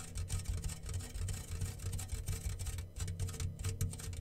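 A homemade rain drum, made from a medium, round, yellow-painted hollow metal tin with clear plastic film stretched over its open top and small loose grains inside, is held in both hands and slowly tilted and rocked so the grains roll and patter across the film. The result is a steady, rain-like rush, heavy in low rumble with a faint bright crackle on top, swelling and easing as the tin tips back and forth.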